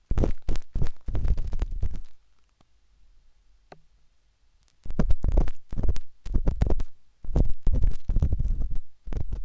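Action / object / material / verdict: scrape / silicone microphone ear / silicone / none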